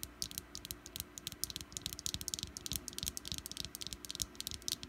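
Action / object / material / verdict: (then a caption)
tap / wax pumpkin-shaped candle / wax / none. Long black nails tap quickly around the green stem, top and sides of a small solid orange wax pumpkin candle. The result is a quiet, rapid series of short, bright clicking taps that die away almost instantly, over a faint low background hum.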